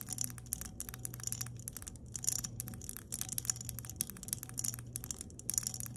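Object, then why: Glass mason jar with metal screw lid. Long nails tap and scratch the embossed glass body and ridged metal screw lid of an empty glass mason jar lying on its side. Dense bursts of bright, crisp clicks and scratchy ticks come in quick clusters with brief pauses between them, over a steady low hum.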